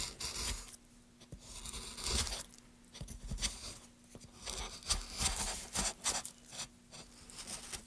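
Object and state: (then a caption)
Wooden plank being carved. A metal gouge, held in gloved hands, scrapes and carves grooves into a solid, light-colored wooden board set at an angle. It makes a series of bright, rasping strokes with short crunchy bursts, separated by brief quiet gaps. A faint low hum sits underneath the strokes.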